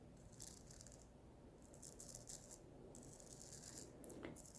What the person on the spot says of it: And it does make a lovely scratching sound because of the sugar.